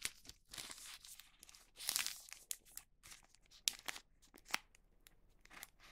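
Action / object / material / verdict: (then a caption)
scrape / wax paper sheet / wax paper / none. A thin printed wax paper sheet on a cutting mat is folded, pressed and lifted with fingertips. Bright, dry crinkles and sharp crackles come in bursts, some longer and louder, with faint quiet gaps between them.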